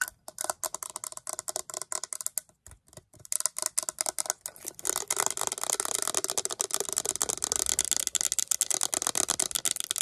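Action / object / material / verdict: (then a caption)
tap / hard plastic tumbler cup / plastic / none. Long acrylic nails tap and scratch along the side of a hollow, cylindrical Hello Kitty hard plastic tumbler. For the first few seconds, quick, dry, bright clicks come in bursts with brief pauses. After that, a denser, continuous run of rapid scratchy ticking takes over, staying high and crisp with no low-end body.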